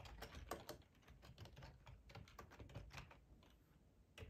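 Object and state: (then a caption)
Plastic computer keyboard being typed on. Fingertips type steadily on a black plastic, hollow-bodied split ergonomic computer keyboard, producing a quick run of soft, clicky taps. Each keystroke is a short, bright click with a hollow plastic knock that dies away almost instantly, over a low, rumbling background.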